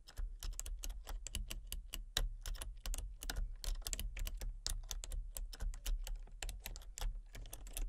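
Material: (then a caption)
Plastic. Fingertips with long painted nails type rapidly on a full-size backlit plastic computer keyboard with hollow key switches and colour-cycling lights. Quick, bright, clicky key taps follow one another in a steady run, each dying away almost at once over a constant low hum.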